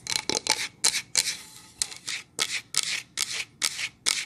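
Long nails tap and scratch a solid pine plank sign with a painted front, making 13 separate bright, dry scratchy strokes with almost no low end and no ring after each.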